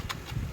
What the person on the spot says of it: ఇలా అట్ల కాడతో కొట్టినప్పుడు టక్ టక్ అని సౌండ్ వస్తుంది, అంటే చక్రాలు ఉడికిపోయినట్టేనండి.